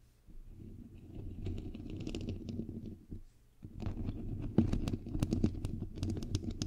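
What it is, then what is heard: Metal mesh microphone grille being scratched and tapped. Long nails and fingertips scratch and tap the hollow, white perforated metal mesh grille of a bare microphone head, producing a close, boomy low rumble of rubbing and scraping. After a brief pause, sharper, irregular taps follow, each adding a bright click over the deep thud.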